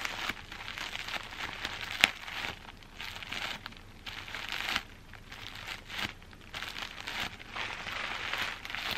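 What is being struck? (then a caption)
Plastic bubble wrap bundle. A bundle of clear plastic bubble wrap, held in one hand with long green-painted nails, is squeezed and crinkled close up. Bright, dense crinkling and crackling comes in bursts separated by brief quieter gaps, with one sharp snap near the two-second mark.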